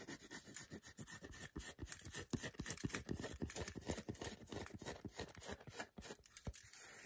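Long nails scratch the back and tap the segmented front of a solid milk chocolate bar held in the hands. The result is a fast, uneven run of short, dry taps and scratchy rasps at about four per second, with no ring after each hit.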